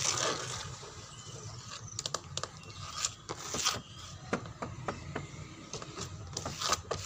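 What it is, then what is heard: Wooden door tapped with fingernails. Long painted nails tap and scratch on a dark brown grained wooden door, making a bright, hissy scraping texture broken by a series of sharp, quick clicks. A steady low rumble sits underneath throughout.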